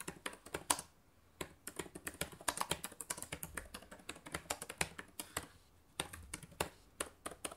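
Fingertips with long nails type fast on the plastic keys of a black laptop keyboard, producing rapid, crisp clicks and clacks with a bright edge. The typing comes in quick bursts, with short pauses near one second and again just before six seconds.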